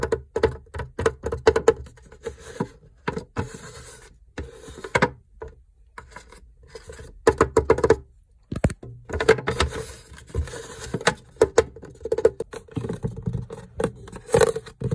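An empty translucent plastic egg tray with rounded hollow cups, sitting in a fridge door, is tapped and scratched with fingertips and nails. Quick hollow plastic taps with a ringing tone near 450 Hz alternate with dry scraping and rubbing in short bursts. There are brief pauses between them.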